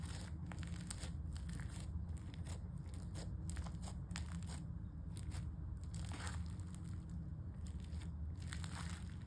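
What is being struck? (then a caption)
Slime with foam beads. Pale-yellow crunchy foam-bead slime, a soft, solid mass, is squeezed in one hand, spread flat, then folded and pressed by fingertips, leaving holes. A continuous stream of close crunching and crackling bursts rides over a steady low rumble, with brief bright crackles throughout.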